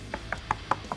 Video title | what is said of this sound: [기타토크] DANELECTRO 59M NOS+ 는 리듬만 연주하는 기타가 아닙니다! | it's definitely hollow body I can hear that